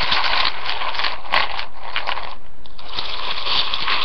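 A hand with nails rakes and stirs through uncooked spiral rotini pasta filling a floral-rimmed ceramic bowl. Dense clicking, crunching and rustling rattle steadily, with brief louder scrapes and a bright, hard edge throughout.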